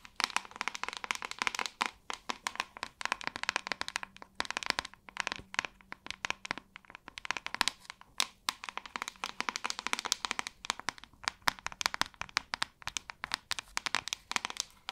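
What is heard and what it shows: Long nails tap and scratch across the hollow back of a white plastic paddle hairbrush. The result is a dense, rapid run of short, bright, clicky taps mixed with scratchy rasps, with almost no low end and no ring after each tap.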